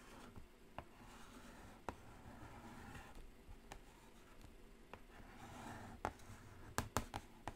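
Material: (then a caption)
Cardboard. Long acrylic nails tap and scratch the printed lid of a black cardboard Carnival eyeshadow palette, lying flat and closed. About nine sharp, dry clicks stand out over a quiet, continuous soft scratching, each tap dying away almost instantly, with a cluster of louder taps near the end.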